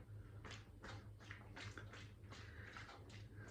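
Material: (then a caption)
Plastic. A CamelBak plastic hydration bladder holding water, with the air sucked out after being turned upside down, is shaken repeatedly and gives only faint, soft crinkly swishes over a steady low hum. There is no water slosh, because no air is left inside for the water to move around in.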